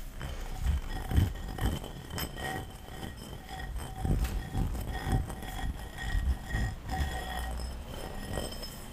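A medium, light-blue textured ceramic bowl, hollow and empty, is held in the hands and turned over while long fingernails tap and scratch its outside and base close to the microphone. Irregular soft taps, mostly dull and low, carry faint, short-lived ringing tones over a continuous scratchy rustle.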